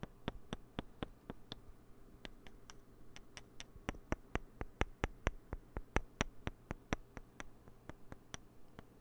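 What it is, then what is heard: Plastic poker chips clicked together. Two small green-and-white solid plastic poker chips, held in the fingertips right at the microphone, are clicked and tapped against each other. About 34 sharp, bright clicks come at an uneven pace with almost no ring, over a steady low hum.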